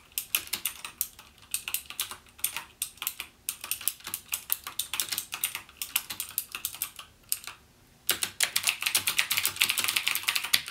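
Fingertips type rapidly on a backlit plastic mechanical gaming keyboard with clicky Cherry MX Blue switches, giving a dense run of sharp, bright key clicks with almost no low end. The typing pauses briefly just before the eight-second mark, then resumes at the same quick, uneven pace.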